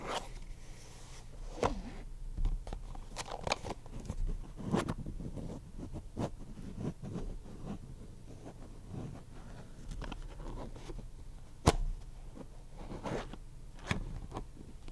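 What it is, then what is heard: Plastic deck box. A small, hollow purple Ultra Pro plastic card deck box is held in both hands while fingers rub and scratch its surfaces. Soft, steady scratchy rubbing is broken by short, sharp clicks and crackles, with one louder snap near the end.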